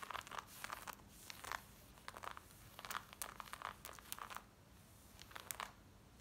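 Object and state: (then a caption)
Denim jeans scratched. Long nails scratch worn black denim jeans along the side, the back pocket and the front. The result is quick bursts of bright, crisp rasping with short quiet gaps between strokes, over a faint low background.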